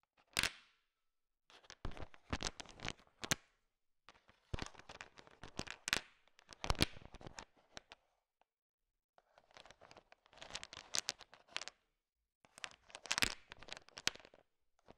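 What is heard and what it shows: A thin wooden stick stirs and taps a bowl filled with a heap of small, hard, sugar-shelled peanut M&Ms. Bursts of bright, crisp clicking and rattling come as the candies knock against each other, separated by short quiet pauses between mixing strokes.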